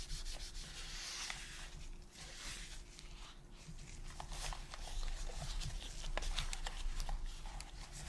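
A gloved hand holds a hollow, hand-sized white and black hard plastic PS5 controller while gloved fingers wipe and rub its back and grips with a cotton pad to clean it. Soft, scratchy rubbing and brushing swishes repeat at an uneven pace, with bright brief scuffs over a steady low hum.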